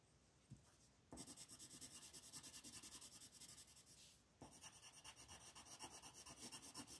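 A wooden ochre colored pencil scratches dense shading strokes across a flat paper coloring page while the fingertips of the other hand rest on the page. After a quiet start with a faint tap, a steady run of bright, raspy back-and-forth strokes begins. It briefly softens, then resumes just as densely.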